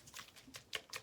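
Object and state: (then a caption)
Water still sloshing in a shaken shaving-soap bowl. A lidded shaving bowl holding soap and a little water is shaken, producing repeated bright, short watery sloshes and splashes with little low end. The liquid sound is still audible, meaning the water has not yet worked into the soap and the shaking should continue.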